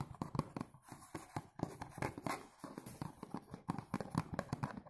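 Fingertips tap and scratch the front of a dark blue cardboard perfume box held upright. A quick, uneven run of dull, low-pitched taps dies away almost instantly, with soft scratchy brushing between them.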